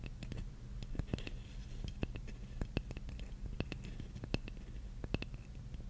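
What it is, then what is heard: Wooden jigsaw puzzle piece. Long nails scratch and tap a large, flat, solid wooden jigsaw puzzle piece held upright. Soft, steady scratching runs under a low hum, broken by frequent short, dry, bright clicks from the taps.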